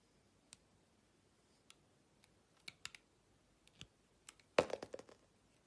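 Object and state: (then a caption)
Bar of soap being cut with a blade. A utility-knife blade slices thin sheets off a rectangular solid soap bar with a white coating and a green interior, held in a hand with long nails. Sparse, quiet, crisp clicks and short scrapes with a bright edge die away almost instantly. They grow closer together toward the end, building to a denser, louder cluster of cuts.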